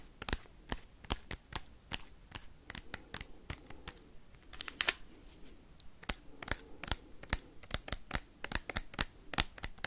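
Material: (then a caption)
Foil. Paperclips worn on the fingertips scratch and tap the crinkly wrapper of a small, sealed foil Pokemon card booster pack. About 30 sharp, bright clicks come fast and irregularly, with soft crinkling scratches between them.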